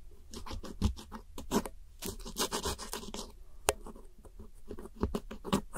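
A red-handled metal hook tool scratches and scrapes the purple wedges and the center pan of pressed powder eyeshadow set in a round white plastic palette. Quick, dry, gritty strokes repeat in bursts with a bright, crumbly hiss, and one sharper click stands out partway through.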